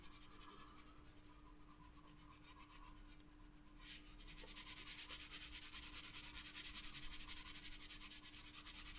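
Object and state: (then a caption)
Pencil shading on a paper sketchbook page. A wooden graphite pencil held in the hand shades a flat paper sketchbook page, rubbing and scratching over the paper surface. The strokes make a bright, hissing scrape in quick, fairly regular back-and-forth rhythm over a faint steady low hum. The rubbing grows louder and denser after about four seconds and stays steady to the end.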